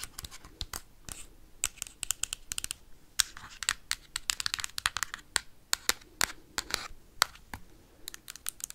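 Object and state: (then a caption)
Hard plastic game console. Metal paperclips tap and scratch rapidly across the hard plastic of a Nintendo Switch console with a red Joy-Con attached. The result is a dense stream of sharp, bright clicks and dry scratchy rasps that die away instantly, with very little low end.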